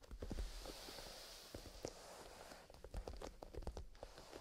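A small, soft, black grained-leather pencil case with a metal zipper, possibly holding pencils, is held in both hands and squeezed and rubbed along its sides by fingertips in fingerless gloves. The result is a quiet, steady rustling and creaking texture, mostly low in tone, dotted with short soft ticks and clicks throughout.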